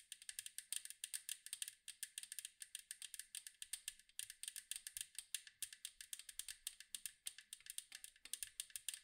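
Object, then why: Metal cookie tin. Long acrylic nails rapidly tap the striped side of a large, round, hollow metal cookie tin. The result is a steady stream of bright, crisp clicks that stop almost instantly and carry almost no low end.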